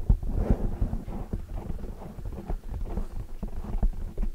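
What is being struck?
Foam microphone windscreen.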